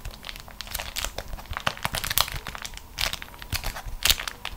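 A crumpled ball of beeswax-coated cotton food wrap is squeezed and crushed in both hands with long nails, resting on a matching waxed fabric sheet. It makes a dense run of bright, crisp crinkles and sharp crackles that rise and fall in short bursts, each snap dying away almost instantly.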